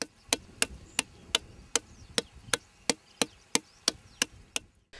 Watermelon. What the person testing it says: చేత్తో గాని తట్టి చూస్తే మీకు ఒక రకమైన అంటే టేబుల్ మీద కొట్టినట్టు టంగ్ టంగ్ మని కొంచెం సౌండ్ వస్తుంది